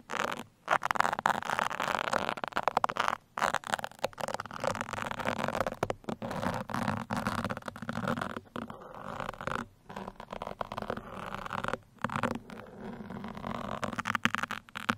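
Two steel pins scratch and pierce the top and sides of a black foam microphone windscreen. Close, crackly scratching and rustling comes in uneven bursts with a few brief silent gaps, its energy mostly in the mid range.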